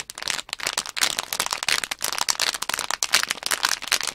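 Long nails tap and scratch the plastic film of a small, sealed plastic Nanoblock package bag held upright with plastic blocks inside. The result is a rapid, continuous run of bright, dry crinkles and crackling taps with no low end. Each burst dies away almost instantly.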